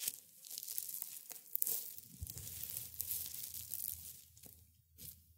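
Hands in black and gray felt gloves crush and rub a small pile of brittle dried rosebuds and petals on a white cloth. A quiet, bright, crunchy tearing crackle runs throughout, with sharp snaps over a soft low rumble that thins out toward the end.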